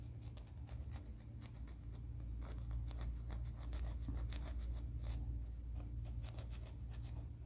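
Fingernails are rubbed and filed along the abrasive surface of a grey emery board nail file. The quiet, dry scratching strokes come about three times a second at an uneven pace, over a steady low hum.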